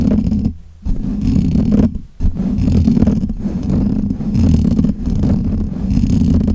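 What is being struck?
Metal mesh microphone grille.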